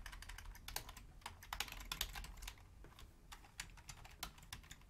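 A full-size black plastic Logitech membrane keyboard with a hollow housing is typed on with long fingernails, one hand reaching over to the numeric keypad. Quick, bright clicking key taps patter unevenly with short, dry decays over a steady low hum.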